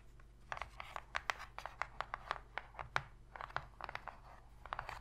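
Long pink fingernails scratch and tap on the bottom and side walls of an empty, shallow white cardboard box lid. About twenty short, dry taps and scratches come in an uneven run, each a brief papery click that dies away at once over a quiet background. The sound is centered in the mid-range with a crisp, bright edge.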